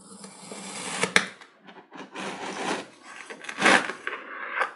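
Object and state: Kinetic sand block being cut.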